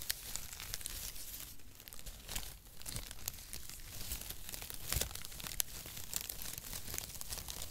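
A flat bundle of brown cardboard packaging shreds is spread across both palms and squeezed and rubbed with the fingers. It makes a steady, dense crinkling and crackling with bright, sharp snaps over a low rumble, with a few louder crunches near the end.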